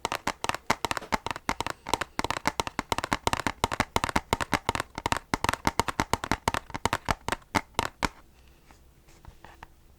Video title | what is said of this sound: ASMR Retro Game Tapping - Are you old enough to remember physical games? | sounds better just the steel book